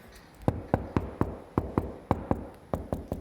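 Eleven short, dull knocks land on a ceramic floor tile in a new house where the grout lines are cracking. Each knock is low and thuddy, dying out almost instantly with no ring, and this spot sounds solid.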